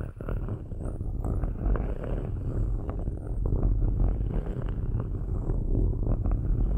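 Metal ball-tipped sticks scratch across the perforated metal tops of two cylindrical microphones. The result is a steady, dense scratching rumble, heavy in the low end, with quick clicks and ticks scattered throughout the whole clip.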